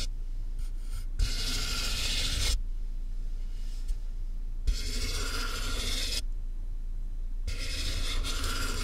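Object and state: Cardboard box being scratched.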